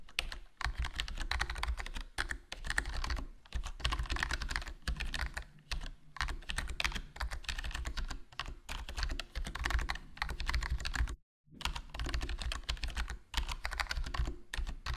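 Rapid fingertip typing with short nails on a foam-modded HyperX Alloy Core RGB, a full-size black gaming keyboard with plastic keycaps and a foam-dampened hollow plastic case. It gives a continuous stream of short, crisp key-press taps over a deep low thump, broken by brief pauses and one near-silent gap.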